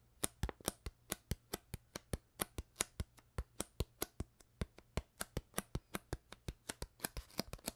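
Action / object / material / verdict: tap / thin ridged plastic water bottle / plastic / none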